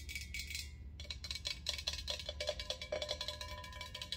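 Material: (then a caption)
Stainless steel. Long acrylic nails tap rapidly on an empty, hollow, hammered stainless steel ice bucket held upright. The bucket gives a bright, ringing metallic ping with each quick tap, and the rings decay fast over a steady low hum.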